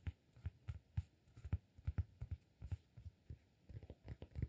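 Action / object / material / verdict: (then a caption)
tap / cork disk / cork / none. A solid round cork disk is held between both hands while fingertips tap and scratch its faces and edge. About sixteen soft, dull, low thuds come in an uneven rhythm, each dying away almost instantly, with faint scratchy texture in between and nothing bright.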